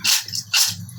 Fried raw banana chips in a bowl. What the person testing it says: Look, how crispy it has fried.